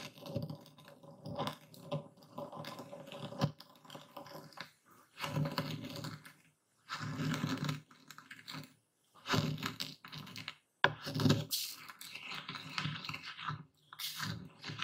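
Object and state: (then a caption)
Epsom salt crystals being crushed. A wooden bowl full of coarse white epsom salt is pounded and ground with a dark speckled stone pestle held in the fist. Bursts of gritty crunching and scraping alternate with brief pauses, each carrying dull low thumps under a bright, crackling grind. The crystals are crushed and ground down in the bowl.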